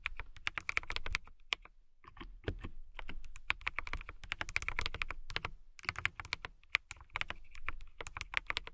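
Fingertips with long nails type fast on a transparent acrylic mechanical keyboard with clear plastic keycaps and RGB lighting. Rapid, bright, sharp clacks ring around 2.2 kHz over a low thump, in quick bursts broken by brief pauses.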